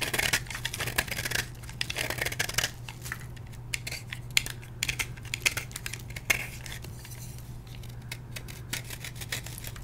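A solid blue and white dyed gym chalk block, held in the hand, is carved with a metal blade into brittle flakes. Dense, bright scraping and crisp crackling clicks come in quick bursts, louder at the start, over a steady low hum.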